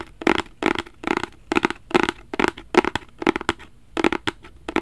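A black rigid cardboard gift box, held flat in both hands, is scratched with fingertips and nails. Short bursts of dry, raspy scratching repeat in quick strokes, each with a slightly hollow midrange tone and a bright, papery edge. The strokes stop sharply with almost no ring between them.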